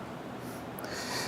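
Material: Nothing is struck.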